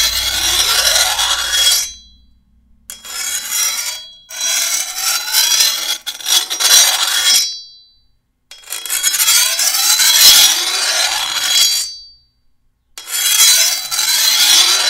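A long, thin, solid steel machete blade, held by the handle, is sharpened with a hand-held rusty metal file drawn along its edge. Repeated rasping, scraping strokes sound bright and gritty, with short silent pauses between passes.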